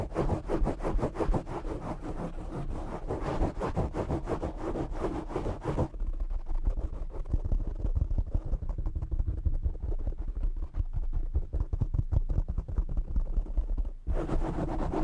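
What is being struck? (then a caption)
Foam microphone windscreen. Fingertips and nails of both hands scratch and rub the black foam windscreen on a desktop microphone, producing a dense stream of rapid, rough scratches over a heavy low rumble. The scratching sounds fuller and brighter at first, turns darker and more muffled from about 6 to 14 seconds, then brightens again at the end.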